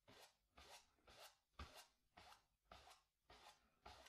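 A wooden-handled bristle brush vigorously scrubs black paint across a small stretched cotton canvas on a wooden stretcher frame, hollow behind. Eight rasping, bright strokes sweep back and forth in a loose rhythm. Each stroke carries a low, drum-like thump from the taut canvas.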